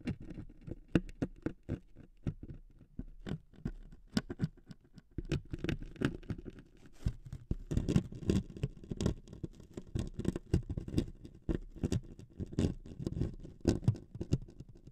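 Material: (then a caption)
Wood veneer. Two metal sewing needles scrape and tap across a thin wood veneer sheet resting on two foam-covered microphones, making a dense, irregular patter of quick scratchy ticks. The sound stays low and woody, with brief bright clicks on sharper strokes. It grows busier and louder toward the middle and end.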